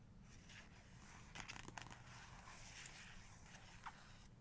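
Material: Paper.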